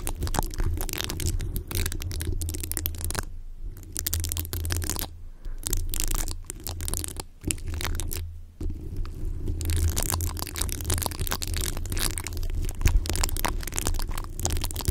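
Long pink-tipped fingernails of both hands scratch and tap the rounded, hollow metal mesh grille of a large condenser microphone. The result is a dense, continuous stream of scratchy crackles and quick taps over a heavy low-frequency rumble, with brief quieter gaps near 3.5, 5.3 and 8.5 seconds.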